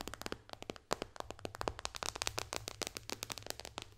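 Long dark fingernails tap quickly on the glass touchscreen of an iPad tablet with a white bezel, lying flat. About 27 sharp, bright clicks come in a rapid, uneven stream, each dying out at once over a faint low hum.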